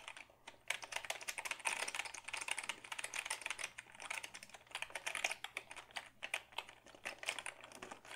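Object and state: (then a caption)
Plastic computer keyboard. A black Dell keyboard of hollow plastic is held tilted while fingertips type quickly on its keys. The result is a steady, dense run of short, bright plastic clicks and clacks with almost no low end, each tap dying away almost at once, with a few louder bursts.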